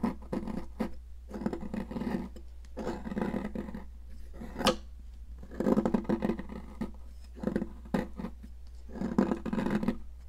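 A metal palette knife scrapes a solid blue popsicle-shaped stick of sidewalk chalk in repeated gritty bursts, with flakes and powder falling onto a plastic mat. The rough scraping sits mostly in the low-mid range, with one sharper, brighter crack partway through and a steady low hum underneath.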